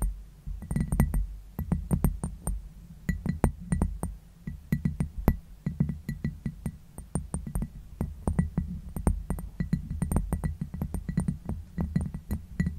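A glass bowl is tapped gently and quickly, giving a long run of light, soft taps. Each tap is short, with a low, dull body and faint, bright glassy pings above it.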